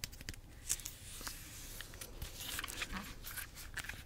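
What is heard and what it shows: Long nails tap and scratch the unpeeled peel of a bunch of ripe yellow bananas with brown streaks. The sound is quiet, with soft ticking taps and bright, dry scratching and rustling that continues throughout.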